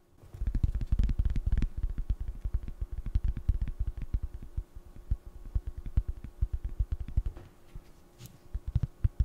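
A small, flat, square solid cork coaster is held and turned while fingernails tap and scratch across its face and edge. The result is a rapid, irregular stream of soft, dull, low thuds and light scratches that stop almost instantly, with a brief bright scrape near the end.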